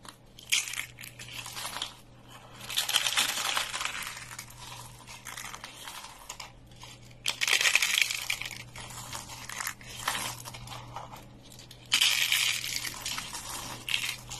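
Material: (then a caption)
Soap. Fingertips squeeze and crush thin, dry green soap shavings rolled into curls on a wooden table, breaking them into crisp flakes. Bursts of dry, bright crackling and crunching come in several waves, with rapid, irregular snaps within each burst and a faint low hum underneath.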